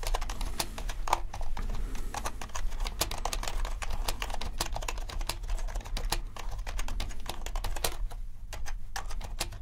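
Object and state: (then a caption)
Mechanical keyboard being typed on. Both hands type with their fingertips on a compact, around 65% mechanical keyboard with a dark case and black and white plastic keycaps. A steady stream of quick, crisp key clacks rings briefly and stops short over a low, constant hum.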